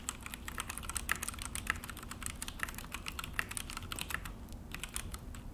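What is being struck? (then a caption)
Plastic mechanical keyboard. Both hands type with their fingertips on a full-size Akko mechanical keyboard with an orange plastic case and black plastic HyperX keycaps. The result is a steady stream of short, bright, clacky key presses with quick, dry decays, over a faint low rumble.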